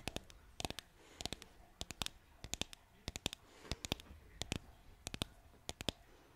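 Long nails tap repeatedly on a flat, solid green painted wooden bottle-shaped sign cutout. The taps land in quick bursts of short, sharp, dry clicks with bright highs, stopping almost at once between strikes. A faint steady hiss sits underneath.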